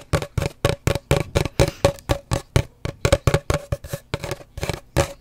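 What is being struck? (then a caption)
Cardboard paper towel tube. Long dark nails tap rapidly on an empty, hollow cardboard paper towel roll held horizontally, making 26 short, dry knocks in a loose, uneven rhythm. Each tap has a hollow tone that rings around 560 Hz over a deep thump, with a brief papery click on top, and dies away almost at once.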